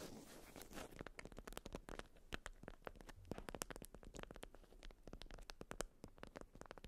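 A watermelon-print beeswax-coated cotton food wrap around a round item is scratched and tapped with long almond-shaped nails. It begins with a brief dense scratchy rustle, then gives way to a quick, irregular run of short, dry crinkly taps and scrapes with almost no ring. The sound is quiet and close.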